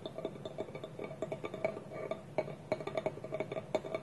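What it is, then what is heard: Wooden bowl with lid. A small, hollow, polished wooden bowl, its wooden lid held against it by both hands on a table, is tapped and scratched with nails and fingertips. Quick, uneven hollow knocks with a woody resonance around 640 Hz mix with light scratching between them. Each tap dies away almost at once.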